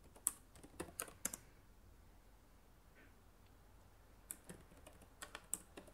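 Fingertips with long nails type on the plastic keys of a black laptop keyboard, producing quick, bright, dry clicks. The clicks come in two short bursts, separated by a quiet pause of about three seconds.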